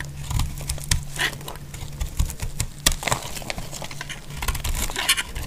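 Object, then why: Bar of soap shaved with a blade. A utility-knife blade shaves and slices the sides of a solid, dry purple bar of soap. It makes a rapid series of crisp, dry scraping crackles with bright, brief transients. A steady low hum runs underneath throughout.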